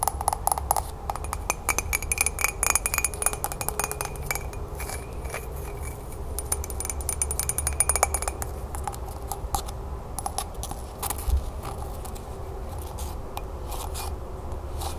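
Long nails rapidly tap and scratch a hollow, empty green glazed celadon ceramic mug with a handle and raised flower decoration as it is turned over in the hands. Dense, sharp clicks with very short, bright ring mix with scratchy friction over a steady low hum, and the faint ringing tones fade out after the first half.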